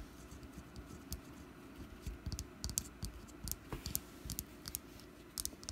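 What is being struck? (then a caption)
Wax pumpkin candle. Long black nails tap and scratch a small, solid orange wax pumpkin candle partly held in a hand. Quiet, dry, clicky taps with bright high ticks and soft low knocks come in irregular clusters over a faint steady hum, each one dying away almost instantly.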